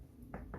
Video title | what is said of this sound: Le Petit Lunetier je vous donne mon avis | vous l'entendez quand on tape